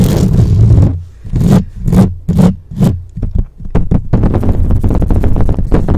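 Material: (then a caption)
Metal mesh. Long acrylic nails on both hands grip and scratch the hollow metal mesh head of a black microphone, fast and aggressively. A continuous deep, muffled rasp gives way to separate swelling swipes, then to rapid, dense scratching. The sound stays boomy and bass-heavy, with almost no bright top end.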